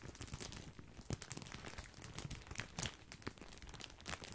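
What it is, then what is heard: Plastic bag of breadsticks crinkled. Fingertips crinkle and scratch a large, full, white printed plastic bag of grissini breadsticks. A dense run of sharp, bright plastic crackles and rustles comes with low thumps underneath, and the louder crunches stand out from steady scratching.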